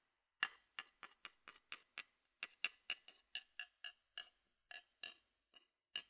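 A thin wooden stick taps and scrapes the rim and inside of a medium, open, empty and hollow wooden bowl held in one hand. Eighteen short, dry, bright knocks, pitched near 2.8 kHz, sound in a loose irregular rhythm. Each dies away almost instantly, with no low-end body.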